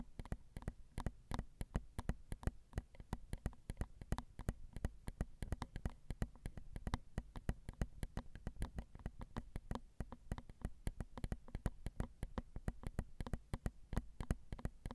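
Long acrylic nails tap rapidly and continuously on the small, hollow, crossed silver metal X/Y microphone capsules of a Zoom recorder. Each tap is a short, dry click with almost no ring, heard close up as a heavy, low thump over a faint low hum.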